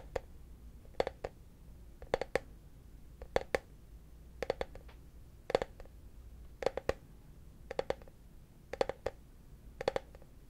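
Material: Plastic.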